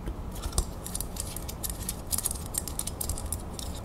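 A small, solid gold-tone metal crown ornament with raised beads, brass-colored, is held in the fingers while long nails scratch and tap along its ridges. Quick, bright clicks and scrapes come in a rapid, uneven flurry over a low, steady rumble, with one sharper tap standing out near the start.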